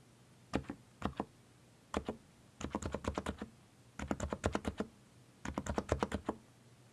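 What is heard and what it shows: Fingertips press the arrow keys and Return on a mechanical keyboard with plastic keycaps. Crisp, short keystrokes with a low thocky body come in five clusters: a few spaced taps, then three quick runs of rapid presses, each dying away almost instantly into a quiet background.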